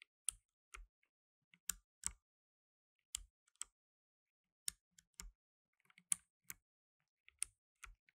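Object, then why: Plastic mechanical keyboard keys. Blue nitrile-gloved fingertips press the plastic keycaps of a black tenkeyless mechanical keyboard, producing 13 separate key clicks with pauses of near silence between them. Each click is short and bright with a faint low thump underneath and almost no ring afterward.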